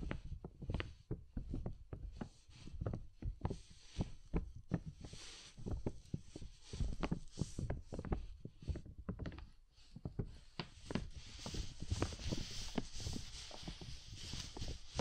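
Soft makeup brushes held in both hands brush and tap across the thin, hollow sheet of a large clear plastic dome umbrella, heard from directly beneath the canopy, with layered hands joining later. The result is a dense, steady patter of soft, low, muffled thumps over a faint airy brushing hiss that grows brighter and fuller in the second half.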